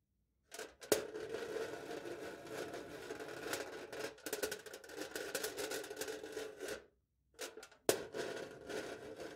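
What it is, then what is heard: Aluminium foil over a plastic cup, scratched. A knife point scratches engraved letters into aluminium foil stretched taut over a hollow plastic cup held in the hand. The result is a dense, crinkly scraping with a resonant hollow tone around 420 Hz and bright fizz on top, carried in long continuous strokes. One sharp tick opens the scratching near the start and another at the final passage, with brief silent pauses between passages.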